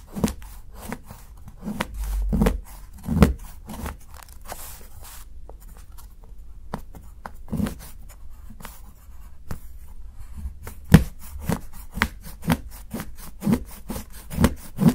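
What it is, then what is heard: Dark chocolate bar being chopped. A steel kitchen knife chops and shaves the edge of a solid, segmented dark chocolate bar held flat by fingertips, cutting it into shavings. A steady series of short, dull, low thuds with quick dry decay is heard, separated by faint scraping and crumbling between the cuts.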